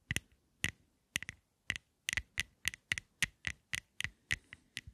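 Long nails tap a small rectangular black and gold lipstick case with gold metal edges and black panels in a steady series of sharp, dry clicks, some falling in quick doubles. Each tap is bright, with a faint tone near 2 kHz, and stops almost at once with little low end.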